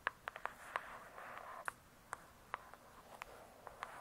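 Long pointed acrylic nails tap quickly on the glossy paper-covered cardboard cover of a thick, solid hardcover "True Crime" book, seen from the spine side. About 13 sharp, dry clicks stand out, each cutting off almost at once, over a soft, continuous scratchy hiss.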